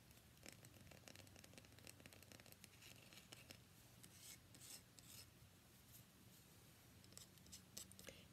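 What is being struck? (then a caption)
Bar of soap. Long fingernails scratch and tap a solid, cream-white, rectangular, palm-sized bar of soap held up in the air. Quiet, crisp scratching and rasping is punctuated by light, sharp taps, with a faint low hum underneath throughout.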